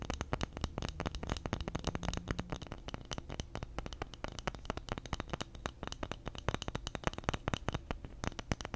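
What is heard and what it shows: A round bamboo lid with engraved text, held in one hand, is scratched and tapped with fingernails. A steady, rapid stream of dry clicks and scratchy strokes plays over a low, warm undertone, with each tap dying out almost instantly.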